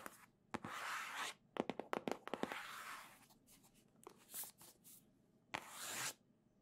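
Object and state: Cardboard console box scratched and tapped.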